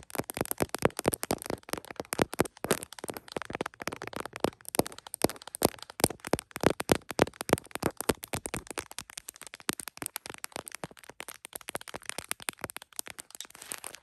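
Long fingernails on both hands tap rapidly across the back and lens area of a tripod-mounted iPhone in a smiley-print plastic case. The result is a dense, continuous stream of short, dry, clicky taps centered in the mid range, with a faint steady high hiss underneath.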